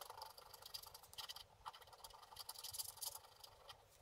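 A wooden scratch stylus held in the fingers scratches away the black wax coating of a flat, book-page-sized scratch-art board, which has a printed colour layer underneath and lies flat on a table. The result is a quiet, steady stream of quick, bright, dry scratching strokes with almost no low end and no ring after each stroke.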